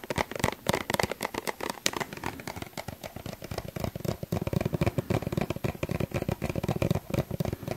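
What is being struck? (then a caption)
Plastic suncream tube. A small, hollow yellow plastic suncream tube is held in one hand and tapped with the fingertips of the other. The result is a rapid, continuous run of short, dry, hollow taps with a soft, low-heavy body and a light crackling, rattling texture.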